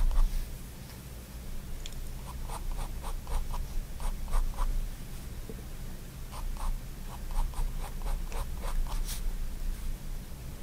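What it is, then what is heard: Pen strokes on a paper sketchbook page. A fine-tip pigment liner pen makes short, scratchy strokes on a spiral-bound white paper sketchbook lying flat on a wooden desk. The quick, dry scratches come in bursts over a steady low hum.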